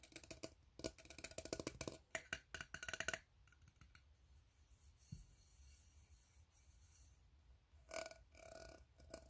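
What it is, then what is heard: Empty ribbed tin can. An empty, open, hollow steel tin can with ribbed sides is held in both hands while fingertips and short nails tap and scratch along its ribs. Rapid, bright metallic clicks and raspy scrapes fill the first three seconds, then fade to a quiet, faint rustle before a short burst of tapping returns near the end.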